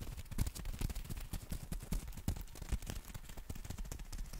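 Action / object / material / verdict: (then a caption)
tap / folded nylon umbrella / nylon fabric / none. Fingertips and nails tap and scratch the fabric of a black folded nylon umbrella held in both hands. The result is a rapid, uneven run of soft, dull, low thumps that die away almost instantly, with faint brighter scratchy rustles between them.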